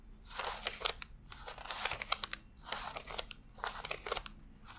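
A stack of thin US $100 paper bills is fanned on a desk, and fingertips flick and rub the individual bills one by one while counting. It sounds like bright, crisp papery rustling in repeated swells, with sharp snapping flicks and very little low end.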